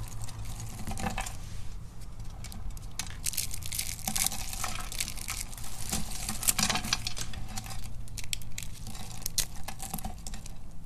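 Brittle purple and black dry soap flakes and shavings are squeezed and crushed in the hand and between the fingertips over a black surface. A steady stream of dense, dry crackling and crunching runs throughout, with bright, sharp crisp edges over a low, constant rumble.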